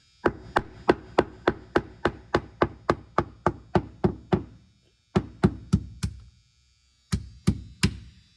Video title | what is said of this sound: Update on 1956 Capri rotted replacement bottom. | Right behind this frame right here. We go to a really dull thud.